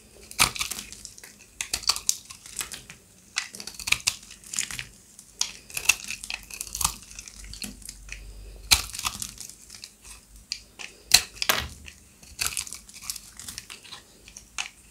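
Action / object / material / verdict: scrape / soap bar scraped with a blade / soap / none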